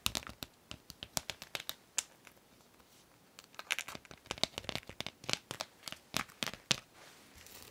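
A gold masquerade mask with a rhinestone band is rubbed and scratched with long nails, giving a rapid run of sharp, bright clicks and crinkly scrapes. The taps come in dense bursts with a brief quieter gap in the middle, each one dry and very short with almost no low end.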